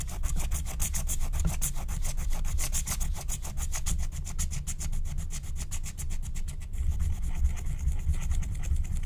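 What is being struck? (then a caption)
Wax-coated scratch-art paper card. A wooden stylus scratches the pink area of a flat, thin, black-coated scratch-art card made of wax-coated paper. Rapid, repeated bright scratching strokes run steadily over a constant low rumble throughout.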